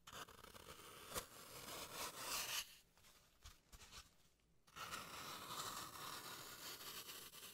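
A solid green floral foam block with carved grooves, held in gloved hands, is scraped and carved with a small tool. Dry, bright scratching fills the clip, with a quieter pause in the middle before the steady scraping resumes.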